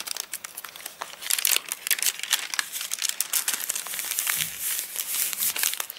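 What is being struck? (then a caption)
Thick paper catalogue. Flat palms and fingers rub across the crinkly pages of a thick, open, rain-dried paper catalogue after a page is crinkled. The result is a dense stream of bright, dry crackles and papery rustles with almost no low end. The sound swells and eases unevenly throughout.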